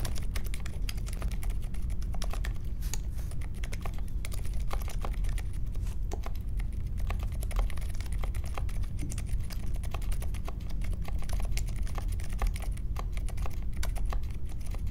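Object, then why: Mechanical keyboard with plastic keycaps. A small 60% Polaris mechanical keyboard with a grey case, white, mint and pink plastic keycaps and Silent Alpaca silent linear switches sits on a marble desk and is typed on steadily with the fingertips of both hands. A dense, even stream of soft, muffled, low-pitched keystrokes continues throughout, with only faint brighter ticks and a short, dry decay on each press.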